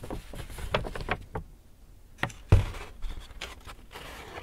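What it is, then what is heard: Paper shopping bag being crinkled. An empty white Hudson's Bay paper shopping bag is held and crinkled while fingertips rub and scratch the paper. It makes a series of soft crinkles and scratchy rustles, with a brief quiet lull, then a sharper crackle and more scratching that fade into low rustling.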